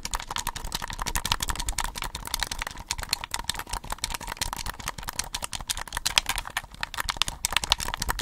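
Fingertips and short nails rapidly tap and scratch the hollow, cylindrical plastic-and-mesh body of a red-lit desktop USB condenser microphone, about 20 cm tall, held in both hands. A dense, continuous stream of sharp, bright, typing-like clicks and scrapes continues throughout over a faint steady tone near 900 Hz.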